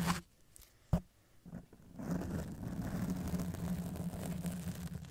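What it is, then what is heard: Foam microphone windscreen being scratched. Long acrylic press-on nails slowly scratch and rub a soft, porous black foam windscreen over the capsule of a silver Blue Yeti microphone, with the hands briefly touching the metal body. A couple of sharp, brief knocks come first, then a steady, muffled low scratching and rubbing fills the rest of the clip, dominated by a deep droning tone with little high-end.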